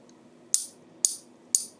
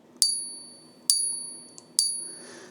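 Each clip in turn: First: base metal token with a dull, ringless ping. Second: genuine silver coin, clear ring.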